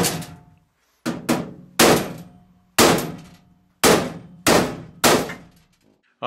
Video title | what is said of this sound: Goodman GMP heat exchanger autopsy | you can hear those Rings bouncing there when you hit it with a hammer